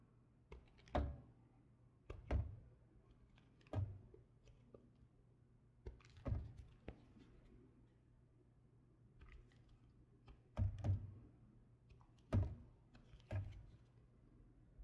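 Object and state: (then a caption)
Bar of soap being carved. A solid light blue bar of soap, held in the hand, is carved and shaved with a red patterned knife. Soft, dull low thunks of the blade cutting in are spaced through the clip, with faint scraping between them. Each cut dies away almost immediately.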